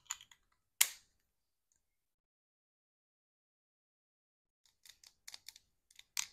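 Long acrylic nails tap a small, clear plastic snail mucin serum bottle held in one hand; it has a black pump cap and a gold label and is hollow and partly filled with liquid. A few quick, bright clicks are followed by one sharper, louder tap, then a long silence. A final run of light, dry taps ends the clip, each stopping almost instantly with no low body.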